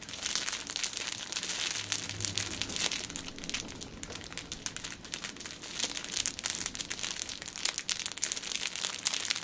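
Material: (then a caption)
Plastic film. A six-pack of pocket tissues wrapped in clear cellophane film is held upright and squeezed and crinkled by both hands with long nails. The result is a dense, continuous, bright crackling and crinkling with sharp, quick-decaying snaps and almost no low end, staying at a steady, moderate level throughout.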